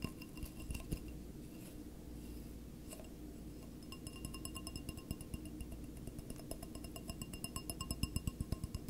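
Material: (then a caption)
Glass. Fingertips and nails tap and scratch the wall of a single clear, empty stemless wine glass held in both hands. Quiet scratching and soft low rustle give way to crisp glassy clinks with faint bright ringing tones. The taps grow louder and more frequent toward the end.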